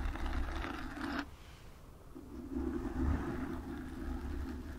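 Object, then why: Foam microphone windscreen. Long acrylic nails cover and scratch a black foam microphone windscreen, producing a dense, muffled rustling scrape with a low rumble and a mid-range hiss. The scratching stops briefly after about a second, then resumes and continues to the end.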